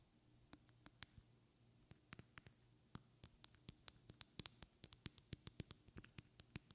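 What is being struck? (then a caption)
Small glass perfume bottle. Long red-painted fingernails tap and scratch a small, partly filled glass perfume bottle with a white cap. About 28 sharp, bright clicks with a high glassy tone die away almost instantly over a faint low hum. The taps grow quicker and louder in the second half.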